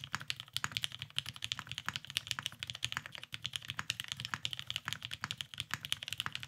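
A beige, Cerakoted Salamander tenkeyless mechanical keyboard with lubed Vintage Black switches and plastic keycaps sits on a desk mat while both hands type continuously with their fingertips. A rapid, steady stream of short, crisp clacks centres around 3 kHz with a bright top and a light low thump, and each keystroke dies away almost instantly.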